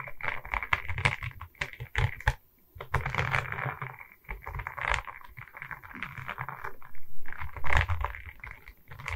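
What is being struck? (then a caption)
Resin bead diamond painting on a wooden board. A diamond painting of resin beads on a wooden canvas board is held at its sides while long red nails tap and scratch across its resin bead surface. Fast, dense clicking taps with low thuddy weight alternate with rough scratching rasps, peaking around 2 kHz. The hits are dry and short with almost no ring, swelling in bursts and briefly dropping out.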